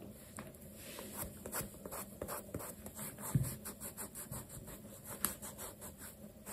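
A dark cloth on the fingertips rubs along the side and heel leather of a black leather sneaker held sideways with a cloth stuffed inside. Soft, quiet brushing and scratchy swishes repeat in a steady rhythm, mostly low in tone, with a couple of sharper ticks partway through.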